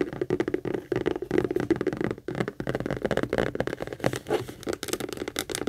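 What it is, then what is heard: Leather handbag. Long acrylic nails quickly tap and scratch the textured front panel of a medium pink Kate Spade structured saffiano leather handbag, which is hollow and held upright. The result is a dense, fast run of hollow, mid-pitched taps mixed with crackly scraping that keeps going without pause.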